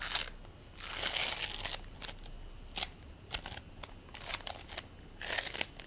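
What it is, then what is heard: Play foam ball (polystyrene microbeads). A fist-sized ball of purple and white play foam, made of tiny polystyrene beads in a sticky binder, solid and soft, is squished and pressed between bare fingertips and palms, then set down on a white plate. It gives bright, crackling, crinkly bursts with sticky little pops, separated by quiet stretches and carrying almost no low end.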